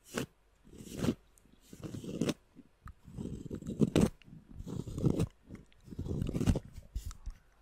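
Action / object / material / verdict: scrape / cork coaster / cork / none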